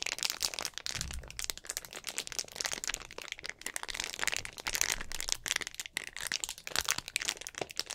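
A clear, hollow, mostly empty plastic drink bottle with an orange cap is held in both hands while fingertips squeeze and crinkle the plastic. The result is a steady stream of dense, bright crackles and crunchy pops with very little low end, each snapping off quickly.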